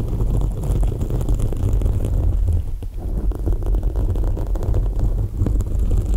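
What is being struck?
Foam microphone windscreen.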